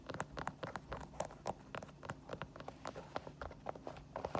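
Long painted nails tap and scratch the smooth synthetic heel counter and foam sole of an empty white synthetic-leather Adidas sneaker standing on a wooden floor. About 26 quick, irregular, quiet clicks land with dry, short ticks centred in the midrange, mixed with light scratchy rustling between them.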